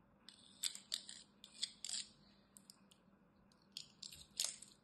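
A metal blade carves and scores a solid green dry soap bar held in the hand. It makes a quiet series of short, dry, bright scratching and crunching bursts with almost no low end, each dying away quickly, and a few louder cuts stand out among softer scrapes.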